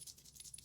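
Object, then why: Brow tint pen. An espresso-shade brow tint pen is shaken to get the product to come out, giving a quick, quiet, high-pitched rattle of about five short clicks. The clicks are bright and thin with almost no low end.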